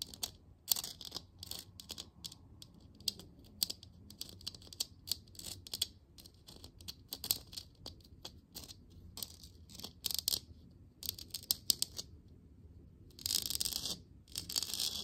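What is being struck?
Plastic lamp sphere.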